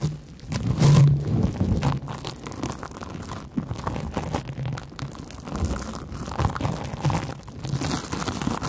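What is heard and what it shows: A large, porous yellow cellulose sponge with big holes is scratched with long nails just above the microphones. The result is a dense, continuous run of dry, low-weighted crinkling and crunching scrapes, swelling and fading with each stroke, with little high-end sparkle.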